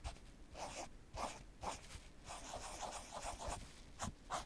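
A fingertip or small tool traces and scratches along the printed Babolat lettering on a black padded nylon tennis racket cover. Soft, dry scratching comes in short repeated strokes with a brief papery hiss, brighter swishes at the louder moments, and low rustling between them.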